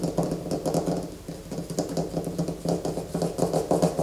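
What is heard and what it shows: Fingernails scratch a solid white bar of soap held in the hands, shaving off flakes. The result is a steady run of quick, dry, close-up scraping strokes with a soft low body and little high end, each stroke dying away almost at once.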